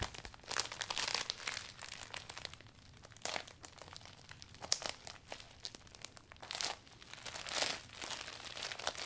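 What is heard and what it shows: Fingertips roll and press the thin, furled vinyl of a closed, new clear vinyl umbrella. The result is quiet, dry, bright crinkling and crunching in uneven bursts with brief pauses, with no ring after each rustle.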